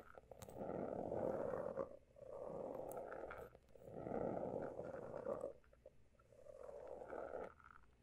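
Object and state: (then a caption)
Textured hardcover notebook. Several fingertips tap and scratch the pale blue, embossed, pebbled cover of a closed A5-size hardcover notebook lying flat over a solid stack of pages. Four long, rasping swells of dense, grainy scratching, centered in the low-mid range, rise and fade with short quiet gaps between them. Faint ticks dot the gaps.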